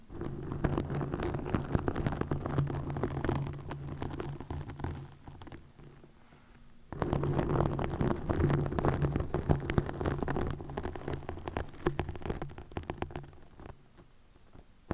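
Long nails scratch a green plastic mesh net stretched over a microphone head, producing dense, low, rumbling crackle with rapid irregular scrapes. The scratching runs in two bursts, the first fading out around five seconds and the second resuming near seven seconds, each trailing off into quieter, sparse rustles.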